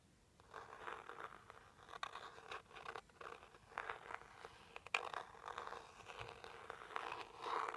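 A small, hollow, rigid teal cardboard jewelry box, its back side facing up, is scratched and tapped with a white plastic pointed stick. Quiet, dry scraping strokes come in uneven bursts, broken by a few short, sharp taps. The sound sits mostly in the mid range with almost no low end, and each stroke stops dead without ringing.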